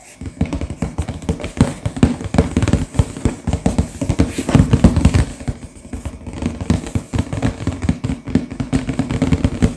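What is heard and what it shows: Both hands tap with fingertips and short nails across the back face of a sealed, full, medium-sized hollow cardboard LEGO box lying flat. The result is a steady stream of quick, dull, muffled taps with a low, hollow thump around 180 Hz and almost no high-end brightness. Each tap dies away almost instantly.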